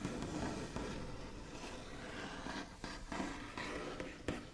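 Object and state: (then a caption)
Wooden tabletop tapped and scratched with nails. The backs of long nails on both hands tap and scratch across a solid, flat, white-finished wooden tabletop. Sharp, distinct taps with a woody tone around 300 Hz stand out over a continuous soft, scratchy tracing texture. Each tap dies away quickly.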